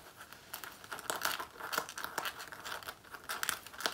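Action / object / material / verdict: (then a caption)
scrape / faux leather jacket / faux leather / none. Long nails scratch and claw the front of a black faux leather jacket, worn on the body, near the waist and zipper area. The result is a quiet run of dry, crinkly scratching bursts, bright with almost no low end and a focus near 1.5 kHz. Each stroke dies away almost at once.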